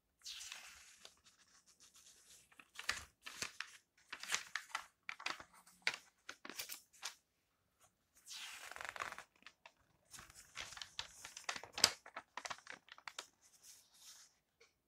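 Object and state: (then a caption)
Glossy paper magazine pages being turned. Fingertips turn the coated pages of an open glossy paper lifestyle magazine and rub them flat. Quiet, bright swishes and crinkly rustles come in bursts, broken by short dry scrapes and brief pauses, with almost no low end.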